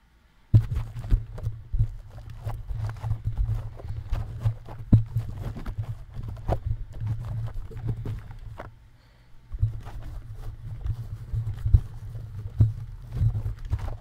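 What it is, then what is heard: Metal mesh microphone grille. Fingertips tap and rub along the perforated metal mesh grille of a bare, hollow cylindrical USB microphone with electronics inside, a red-lit grille and a black top cap, mounted on a stand. Close-miked, the handling comes through as a dense run of soft, boomy low thumps with a deep rumble and light scratchy rustle above. It pauses briefly near the nine-second mark, then resumes.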